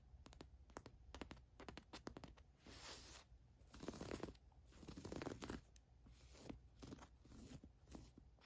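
Long nails scratch the watch print and trace the embroidered letters on a black cotton t-shirt. Quick, dry scratchy ticks come first, then longer rasping scrapes that swell and fade with a bright, crinkly edge. It is all soft, close fabric friction.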